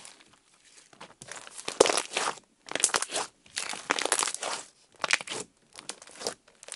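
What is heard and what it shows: Orange slime lying on a table is poked with fingertips, pressed flat and pulled up into strings. Bursts of bright, wet crackling and crinkling rise and fall with each press and pull, with short quiet gaps between them.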